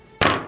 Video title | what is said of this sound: 한국인이 개발한 냉면용 차가운 버너 ㄷㄷ | 딸기에서 도자기 소리가 나는데요